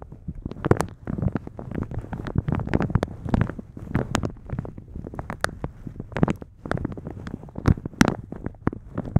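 A thin translucent polka-dot plastic shower cap is stretched over a microphone while fingertips and nails rub and scratch its top and pull at the elastic edge. The result is a dense, close crinkling and scraping texture with low rumbling body and many sharp, bright plastic ticks and crackles.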